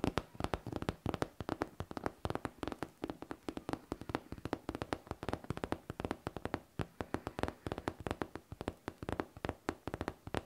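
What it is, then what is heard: Faux leather backpack tapped with nails. A hollow pink faux leather backpack with a smooth surface is tapped and scratched with long nails. Rapid, dense clicking taps run throughout with a faint scratchy texture. Each tap is short and dry with almost no ring.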